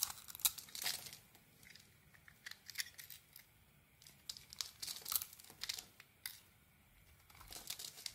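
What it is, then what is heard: Bar soap being carved. A small metal blade shaves and carves a hand-held solid bar of soap with a purple polka-dot coated surface and a white interior, peeling off crumbly flakes. Quiet, dry scraping and crisp crackling bursts come in clusters, almost entirely high and bright with very little low end. Each cut ends abruptly, separated by short near-silent pauses.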